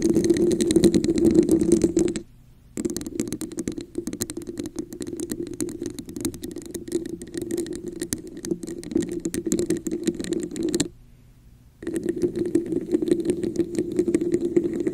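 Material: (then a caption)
Plastic. Fingers with long nails scratch and tap the sides of an inverted, hollow red plastic cup with a diamond texture placed over a microphone. The result is a dense, rapid, uneven rasping and tapping with a hollow, resonant mid-low tone and bright crackly edges. Two brief silent pauses break it up, one just after 2 seconds and another around 11 seconds.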